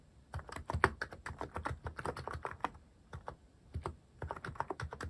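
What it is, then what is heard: Mechanical keyboard being typed on. Fingertips type on a cream plastic-cased mechanical keyboard fitted with cat-themed plastic keycaps. Rapid, short keystroke clacks sound soft and low-weighted, with little bright edge. The clicks come in quick runs with brief pauses near the middle and toward the end.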